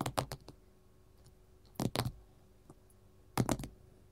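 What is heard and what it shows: A gold mat is tapped with metal finger rings: nine short, soft clicking taps in three quick bursts with a lone tap between, each dying away almost at once. The taps are mostly low and dull with a little bright click on top, against a quiet background.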